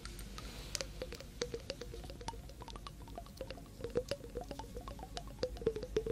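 A small, hollow, clear glass jar partly filled with water is held in one hand and tapped on its glass sides with long nails close to a binaural microphone. Quick, irregular clicking taps each carry a short, watery ringing tone near 450 Hz with bright ticks above, over a steady low hum.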